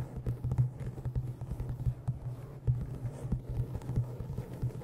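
An old green cloth-bound hardcover book is held by its edges in front of a microphone while fingernails tap and scratch along its top edge, then it is held still. The result is a dense run of short, dull, low thuds and soft scratching, with a steady low hum underneath and no bright ring.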